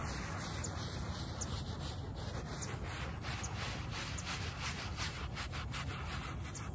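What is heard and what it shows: A small wooden-backed bristle brush scrubs a dirty, muddy, soapy shaggy fabric doormat (a small shag-pile textile rug) in repeated strokes. The result is a steady, dense, rasping scrub with a heavy low-end rumble and brighter bristle swishes riding on top of each stroke.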